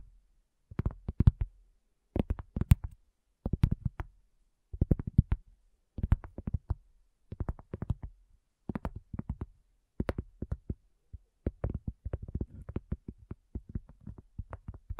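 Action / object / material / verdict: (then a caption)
tap / cork coaster / cork / none. Long nail tips of both hands tap quickly on a round, flat, solid cork coaster resting on a black table, with a recorder set on its edge. The taps come in short, rapid bursts that are dull and low-pitched, each dying away almost instantly. Toward the end the bursts run together into a nearly steady patter.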